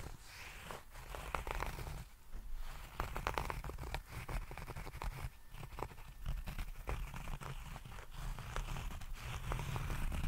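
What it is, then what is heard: Fabric-covered zippered case. A small, rigid, hollow nail clipper case covered in grey herringbone tweed fabric, with a zipper, is scratched with fingertips and nails while held close to the microphone. It makes a dense, continuous run of dry, crackly scratching and rustling with a heavy low-end rumble. The scratches come in quick, uneven bursts over about ten seconds.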